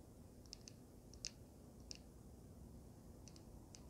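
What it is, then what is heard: Resin and metal vape mod tapped with fingernails. Long nails tap and scratch a small, solid handheld vape mod with a swirled resin panel and a metal frame. Scattered sharp, high clicks ring only briefly over a low, steady background rumble.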